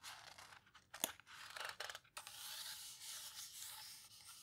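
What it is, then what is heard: Paper book pages rubbed and turned. Long nails and fingertips rub and squeeze the edges of the heavy, coarse pages of a large open Paper Houseboat photo book, then turn the pages. Bright, crinkly paper rustles and scrapes come in bursts, with one sharp crisp snap near the start. The sound then settles into a steady, airy papery swish as the pages turn.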